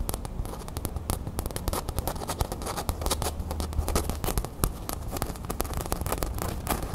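Long nails scratch across the gold printed crown on a small beige cotton canvas drawstring bag held up in the air. The result is a dense, steady stream of rough, crackly scratching with many quick, sharp ticks and a bright, fizzy edge over a low rumble.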